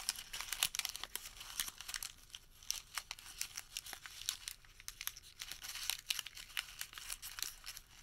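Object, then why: Thermal paper receipt. A small white thermal paper receipt is folded and crumpled between the fingertips and thumbs of both hands. It makes a quiet, steady run of bright, dry crinkles and sharp crackles with almost no low end, and each snap dies away almost instantly.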